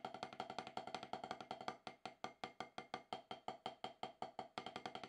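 Two wooden drumsticks tap out a steady stream of 37 quick, dry strokes on a solid octagonal HQ snare practice pad with a dark rubber surface. Each hit is a short, woody knock centered around 750 Hz that dies away almost instantly, and a brief pause near the middle breaks the slightly uneven rhythm.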